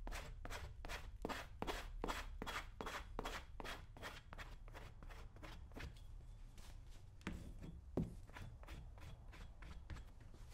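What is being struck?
Leather cowboy boot.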